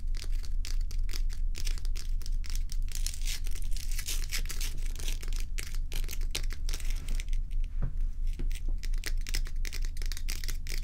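Long stiletto acrylic nails from both hands tap and scratch the sides of a large solid ice block held on a towel. Dense, rapid clicks and crisp scratching crackles run steadily throughout, with bright, sharp ticks over a constant low hum.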